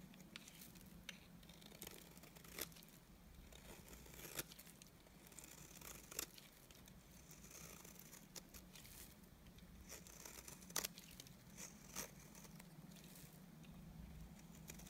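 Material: Soap.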